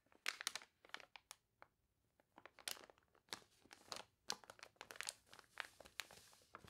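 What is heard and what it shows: Fingernails scratch the wavy pages of a water-warped paper toy catalog, then a page is turned and rubbed. The result is a quiet, irregular run of dry, bright crinkles and crunches, each short with almost no ring and little low end.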